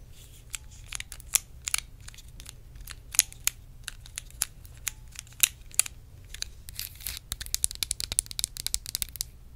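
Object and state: Plastic organizer box tapped and scratched with nails.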